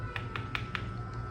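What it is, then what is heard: Fully bonded floor tile. Four quick taps on a ceramic or porcelain floor tile set on a full, uniformly laid bed of tile adhesive give short, solid, dull knocks with little ring, over a steady low hum. The tile sounds fully bonded, with no hollow spot.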